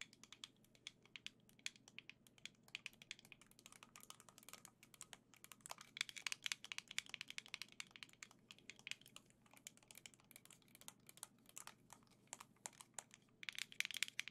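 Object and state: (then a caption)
Plastic game controller tapped with nails. Gold Joy-Cons set in a black plastic grip are held in both hands and tapped with long nails. The result is a quiet, rapid, irregular stream of crisp, dry, high-pitched plastic clicks with no ring, over a faint steady low hum.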